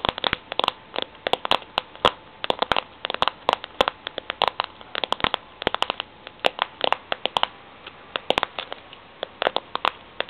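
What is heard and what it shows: Long nails tap and scratch across the concentric ridges of a ridged steel tin can lid. About fifty quick, dry clicks come in irregular bursts, each with a faint metallic ping in the midrange. Soft scratching fills the gaps, and there is almost no low end.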